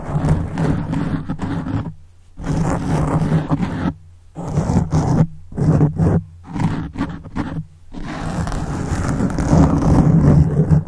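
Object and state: Foam microphone windscreen being scratched.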